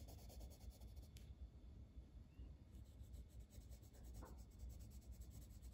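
A dark green wooden colored pencil colors a flat paper page of a coloring book in small strokes. Its lead rubs and scratches steadily across the paper in a soft, continuous, very quiet texture over a low rumble.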